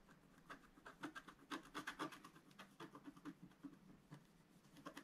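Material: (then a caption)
Coated card. A wooden stylus scratches quick hatch strokes into a pink planet on a flat, black-coated scratch-art card while the other hand steadies the sheet. Short, dry scratching strokes repeat at about two per second, each a brief rasp with a bright, hissy edge over a faint low body. The strokes vary in loudness and are uneven in timing.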